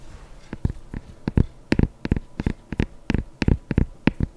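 Long painted nails tap and scratch the leather upper of a hollow, empty white leather sneaker with laces, held sideways in one hand. Nineteen short, dull, low-pitched taps come in quick, uneven bursts, each with a faint bright click that dies away almost instantly. Soft scratching and quiet background hiss fill the gaps between them.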